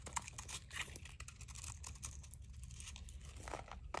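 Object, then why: Bar of soap scraped with a blade. A utility knife blade scrapes and shaves crunchy flakes off a solid blue dry soap bar, now thinner and held in a palm. Quiet, rapid dry crinkling and crunching scrapes come in a dense stream of short bright bursts over a low steady hum.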